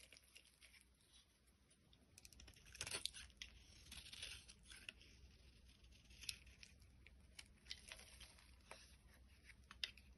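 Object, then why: Translucent bar soap shaved by a blade. A box cutter blade shaves thin strands off a solid orange translucent bar of soap held in the palm. Quiet, bright scraping and crisp tearing cuts come in short bursts, with a denser stretch of shaving near the middle and sharp little snaps scattered throughout.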